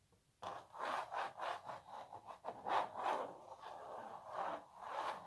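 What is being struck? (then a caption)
Printed canvas stretched on a wooden frame. Long natural nails scratch across a small, hollow printed canvas stretched on a wooden frame. A dry, rubbing scratch begins after a brief silence and continues in a rhythmic series of back-and-forth strokes. It is centered in the midrange around 900 Hz with almost no low end.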